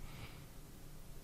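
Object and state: Nothing is struck.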